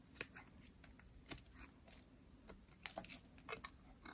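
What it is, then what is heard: Dry soap bar being shaved. A hand-sized white dry soap bar is shaved with a metal blade, its curls falling onto a white table. Quiet, dry, crisp scraping clicks come in short bright bursts with no ringing, over a faint low background hush.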